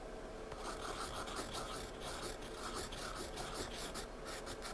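A wooden graphite pencil scratches and shades dense dark strokes on a thick paper sketchbook page lying flat, heard close-up. The sound is a steady, raspy scratching with bright, rapid stroke bursts over a low, even background.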